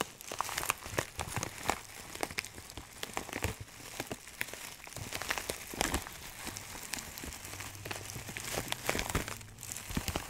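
A clear plastic bag of dried herbs, filled with small dried granules, is held in both hands while fingertips squeeze and rub it. The result is a steady stream of crinkly, crackling rustles with a bright, rain-like texture and many sharp little snaps over a soft low rumble.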